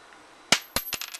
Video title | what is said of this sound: JP Morgan reacts to CRASH JP MORGAN campaign | you hear that ring it has a ring to it